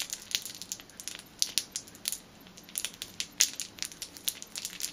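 A clear plastic packet holding a black rubber band is crushed and crinkled between fingertips and nails. It makes a dense run of sharp, bright crackles with almost no low end, each snap dying away almost instantly, with a few louder pops standing out.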